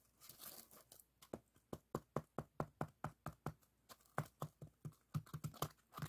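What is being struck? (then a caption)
Expanded polystyrene block. A long solid white expanded polystyrene bar lies on a table while fingertips and nails tap and scratch its surface. Soft rubbing and crinkly scratching at the start give way to a run of quick, dull, low taps with a bright click at each onset, uneven in rhythm and dying away almost at once.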